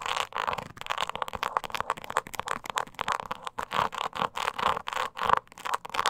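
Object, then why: Small croc-embossed leather purse. Long nails scratch the sides of a small, hollow, croc-embossed leather mini purse held upright. The result is a rapid series of dry, rustling scrape bursts centered around 1 kHz with almost no low end, some strokes quick and others longer.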